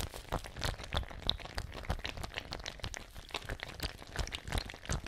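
A patterned fabric ice bag with a metal cap and water inside is shaken and squeezed close to the microphones. It makes a steady stream of soft, irregular crunching and crinkling bursts, about three per second, with a heavy low thump under each one and a bright crackle on top. The bursts are short and dry, with no ringing after them.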